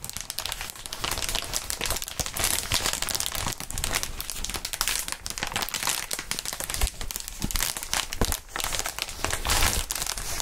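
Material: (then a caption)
Plastic. A large clear plastic inflatable air-column cushioning sheet, made of hollow air-filled tubes, is stretched and crinkled between gloved fingertips. It gives a steady, dense crinkling with bright, crackly plastic texture and soft low thumps as the tubes flex and rub.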